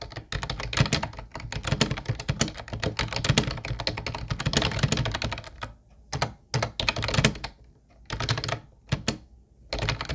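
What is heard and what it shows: Fingertips of both hands type on a mint-blue plastic Ubotie retro keyboard with round white keycaps. A dense, rapid stream of bright, clacky keystrokes with a low plastic thud runs for about six seconds, then breaks into short bursts of typing separated by brief pauses.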